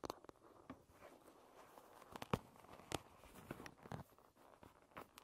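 Long red nails tap the wooden back of a wooden paddle hairbrush, which is then turned over to show its wooden pin bristles. Quiet, dry, irregular taps and clicks with almost no ring stand out over a faint, continuous rustle. A few sharper, louder taps land near the middle.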